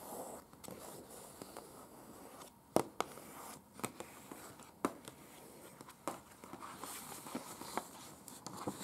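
Very long pointed acrylic nails tap and scratch the surface of a thin folded paper museum floor-plan brochure lying flat on a bed. Quiet, crisp papery scratching and rustling runs throughout, broken by an irregular series of sharp, short clicking taps with bright edges. Each tap dies away almost instantly.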